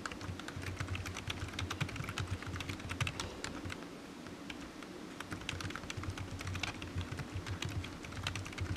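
Fingertips of one hand rapidly tap the keys of a solid, black, low-profile plastic computer keyboard resting on a desk mat, making a dense stream of short, bright clicks. A steady low hum runs underneath, and the typing eases briefly around the middle before picking back up.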